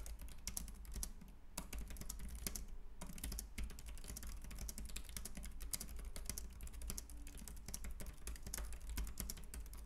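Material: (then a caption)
Plastic. Fingertips type steadily on a white, compact, plastic wireless Logitech K380 keyboard with round plastic keys resting on a wooden desk. The result is a rapid, continuous stream of short, bright plastic clicks and taps that die away quickly, over a low, steady hum.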